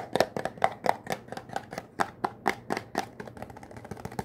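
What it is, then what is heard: Cardboard soap box. Fingertips rapidly tap and scratch a small, hollow, green Irish Spring bar soap box made of thin printed cardboard, held in one hand. Quick, irregular, dry papery taps with a hollow midrange knock come about four per second and die away almost instantly, mixed with soft scratching.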